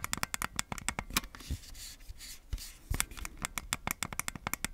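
Red and blue plastic Nintendo Switch Joy-Con controllers sit in a black plastic grip, hand-sized and hollow, as fingertips tap, scratch and click the buttons. Rapid, sharp plastic clicks come in clusters at the start and end, with a softer stretch of brushing, scratching sound in the middle. The clicks are short and dry, carrying a bright, crisp edge.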